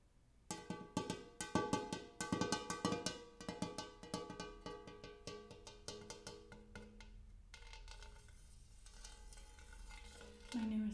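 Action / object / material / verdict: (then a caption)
tap / large hammered metal bowl / metal / none. Fingernails rapidly tap and scratch on the dimpled surface and near the rim of a large, empty, hammered brass-colored metal bowl. Quick, uneven clusters of bright metallic taps ring with layered overtones for the first seven seconds. Softer scratching and a lingering shimmer follow, then a louder, lower ringing swell at the end.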